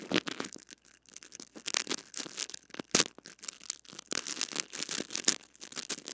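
A small white cleaning brush with stiff bristles scratches and rubs the metal-mesh head of a blue-bodied mini microphone wrapped in clear plastic cling film and held in the fingers. The result is a close, bright series of crackling scrapes and crinkly rustles in quick irregular bursts, with almost no low end.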